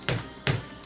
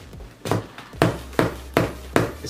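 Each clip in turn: First: Three dull, low thuds that die almost at once: a sparring glove with soft, cushiony padding. Second: Five sharp, hard knocks with almost no ring, like a hammer on stone: the glove's padding is dense and firm.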